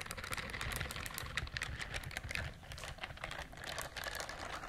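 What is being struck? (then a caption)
Silicone bristled scrubber glove. A pink silicone bristled glove held close to the microphones is scratched along its bristles with long nails. It gives a dense run of quick, crisp tapping clicks with bright bristle flicks over a low rumble. The sound resembles keyboard typing.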